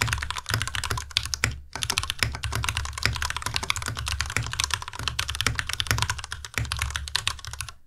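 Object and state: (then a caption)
Plastic mechanical keyboard. A compact white Ducky Miya Pro mechanical keyboard with white plastic keycaps and Cherry MX Red switches is typed on continuously with the fingertips of both hands. Rapid, crisp clacks carry a bright top and a low thocky body, broken by a brief pause near the two-second mark.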